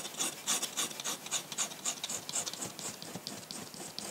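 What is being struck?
Paper sheet and metal pen nib.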